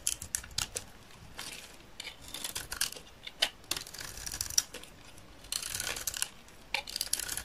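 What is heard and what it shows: A utility knife blade scrapes along the face of a solid green dry soap bar with a red glitter edge, held in the hand, shaving off curls that pile up below. The strokes come as crisp, bright, dry scratching bursts with almost no ring, some short and clicky and others longer and raspy.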